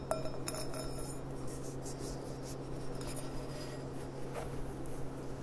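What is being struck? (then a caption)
Glass stemmed goblet. Long nails tap the bowl of a clear, empty stemmed glass goblet with a gold rim as it is turned in the hands, giving light, ringing, chime-like clinks with a short ring around 640 Hz and faint bright ticks. A steady low hum runs underneath throughout.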